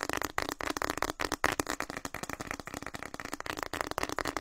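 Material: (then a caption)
Plastic. A hand-sized printed plastic snack packet, orange and white with a flower pattern and partly filled, is crinkled, squeezed and tapped with fingertips in front of the microphone. The clip is a rapid, continuous run of dry crackling rustles and sharp taps that cut off almost instantly, bright and papery with little low end.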